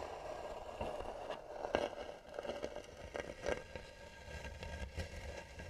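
Long nails scratch the lid of a hollow, carved tan wooden box with both hands. The result is a steady, rough scraping with a hollow midrange tone, broken by sharper, louder strokes.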